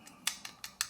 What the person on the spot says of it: It sounds plastic and it feels plastic to me